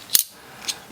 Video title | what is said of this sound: CKF - Custom Knife Factory Marauder Titanium- Initial Impressions and Overview | this feels a lot more solid like it's not a hollow sound